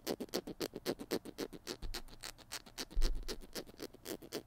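A small plastic glue stick, held in both hands, is tapped and scratched with fingertips and nails on its blue cap and white body. A quick, steady run of soft, dry clicks with bright scratchy edges is heard, with a couple of low thumps around the middle and near the end.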